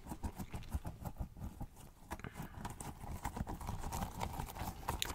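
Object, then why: Soft rubber squishy toy. A small pink squishy rubber pineapple toy with a blue top is held close to the mic and tapped and pressed with fingertips. The result is a quick, uneven run of soft, sticky taps, dull and low-heavy with faint bright clicks, each dying away almost instantly.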